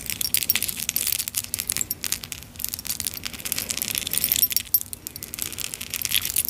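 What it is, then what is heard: Clay and metal charm bracelet. A clay and metal charm bracelet, a short metal chain with small clay teapot and kettle charms and a tiny metal spoon, is held taut between both hands, then shaken and touched with long nails. The charms jingle in a steady stream of bright, high clinks and tinkles with very short ring, plus a faint low hum underneath.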